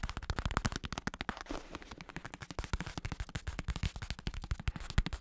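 A black padded bicycle saddle with red trim, its synthetic leather cover stretched over a plastic shell, is held in one hand while fingertips rapidly tap and scratch across it. The result is a dense stream of short, dull thumps with a deep, low-heavy body that die away almost instantly, mixed with soft scratchy rustling between the taps.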